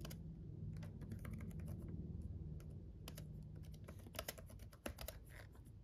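Fingertips of both hands tap the red-backlit plastic keys of a black laptop keyboard while typing. Quick, irregular clicks with bright ticks sit over a steady low rumble, and a few sharper taps stand out near the end.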